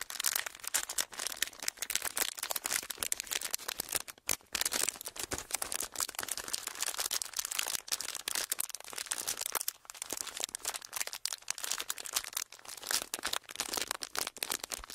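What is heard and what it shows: A pleated clear plastic sheet is compressed and crinkled in both hands with the fingertips, making dense, continuous crackling that is bright and hissy with almost no low end. The crinkling runs steadily for the whole clip, with only a brief drop in level just after the four-second mark.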